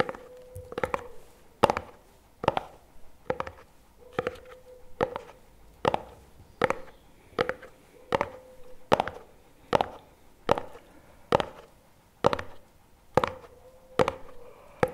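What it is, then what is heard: Plastic lid of a paperboard spread tub. A CremaNovi paperboard chocolate spread tub with a plastic lid is held on its side while a fingertip and nail tap and scratch the lid. The result is a steady, roughly once-a-second series of short, dry, sharp clicks with bright edges, each ending almost at once. A faint low hum sits near 540 Hz between them.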